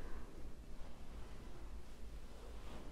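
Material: Nothing is struck.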